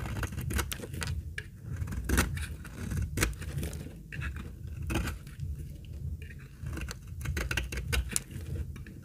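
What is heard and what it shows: A utility-knife blade shaves flakes off the edge of a solid, light tan, very old dry laundry soap bar held in the hand. A steady run of short, dry scraping cuts with bright crisp transients sounds over a low rumble, the flakes crackling as they come away.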